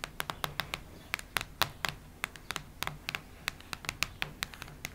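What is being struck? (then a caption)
Cardboard hardcover notebook. Long nails tap, knock and scratch the cardboard cover of a cactus-print hardcover notebook. They make a quick, irregular run of short, dry, bright clicks and light scrapes, each dying away almost at once over a faint low hum.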